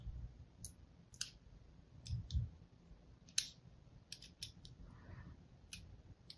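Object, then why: Bar of soap. A thin blade scores a grid into a hand-held solid pink and white striped soap bar, making about eleven short, bright, crisp scratching clicks spaced irregularly. Each click is dry and dies away almost instantly, over a faint low rumble.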